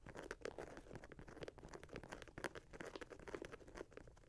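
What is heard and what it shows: Fingernails tap and scratch the toe box and laces of an empty red and grey Nike Air Max 90 sneaker with leather/synthetic overlays and mesh, resting on a lap. The result is a quiet, rapid stream of crisp clicks and dry, crinkly scrapes with a mid-range tone and almost no ring after each touch.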